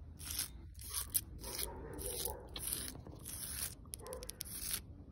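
Long pointed red nails scratch along the grooves of the rough, cracked, lichen-covered bark of a large, solid, living tree trunk. A series of short, irregular strokes produce a dry, bright, hissing scrape with a crackling texture over a low rumbling background.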